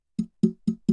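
The body of a cheap bundle podcast microphone is tapped four times up close, each tap giving a short, hollow knock centered around 220 Hz that dies away quickly. The microphone body is hollow, with nothing inside it.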